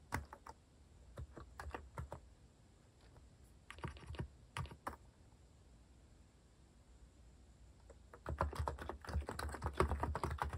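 Fingertips type steadily on a compact white-cased plastic mechanical keyboard with plastic cat-themed keycaps, producing short, soft clicky keystrokes with a low thock. Typing comes in bursts separated by brief pauses, with a quiet lull in the middle before a denser, faster run of keystrokes near the end.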